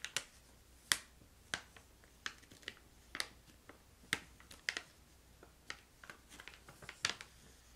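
A filled brown-red plastic pouch of crystallized ginger is flicked and tapped with fingernails and fingertips. About fifteen sharp, dry crinkly clicks and taps sound out at irregular intervals, each bright and very short with almost no low end, over a quiet background.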